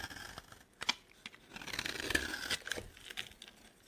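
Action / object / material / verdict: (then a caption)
scrape / bar of soap scraped with a metal blade / soap / none. A metal box-cutter blade scrapes a solid, dry, oval orange Palmolive soap bar held in the hand, shaving off crumbly flakes. Irregular dry scrapes and crisp crunchy crackles sit mostly in the bright high range, with a brief rasping tone around 1.7 kHz. Each stroke stops short with almost no ring.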